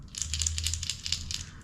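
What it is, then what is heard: Topwater lure with internal rattle. A new, little-used plastic topwater fishing lure is shaken by hand, and the rattle inside clicks and clatters in a quick, bright series of rattling bursts. A steady low hum runs underneath, and the lure is confirmed to rattle.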